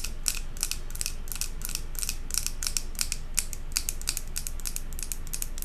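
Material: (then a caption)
Glass. Long acrylic nails tap and scratch fast on the glass sides of a large glass jar candle filled with solid white wax and topped with a silver metal lid. The result is a quick, uneven run of short, bright clicks and scrapes that die away almost instantly, over a steady low rumble.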